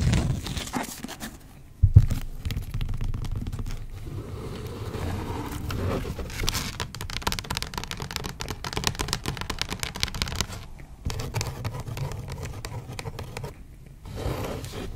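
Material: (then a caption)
Cloth, board. Long acrylic nails tap and scratch the spine and cloth covers of an antique dark blue cloth-covered hardcover book with a gilt-lettered spine, which is held upright and then opened. Dull, low, quickly fading taps come in fast runs over a dry, scratchy rustle, with one sharper knock near the two-second mark.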